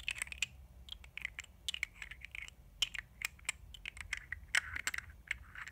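Long nails tap on the glass sides of a small, thick glass gel-liner jar held in the hands; the jar has a black plastic lid and holds a dark product. A quick, irregular series of short, bright, clicky taps rings out, each dying almost instantly with very little low end, over a quiet background.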